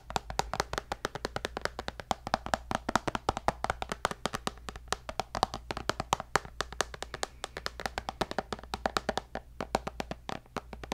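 Fingertips and nails tap rapidly on the glass screen of a tablet with a white bezel in a black case, producing a steady stream of short, dry clicks. Each tap has a bright edge and a body around 800 Hz, dies almost instantly, and sits over a faint, constant low hum.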